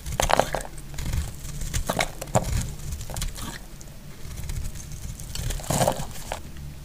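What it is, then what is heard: Dry soap bar being carved. A solid, dry pink soap bar held in the hand is carved into flakes with a metal utility blade. The cuts make a series of crisp, crackly scraping and crumbling sounds, with bright edges over a low background rumble.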